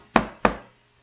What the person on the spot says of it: se a gente pegar e bater na mesa vai ser um som grave e fraco